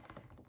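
Fingers tap on a photographic paper art print, a sturdy material that has lasted almost two years. A quick run of quiet, dull, low taps with soft thuds and almost no bright high end.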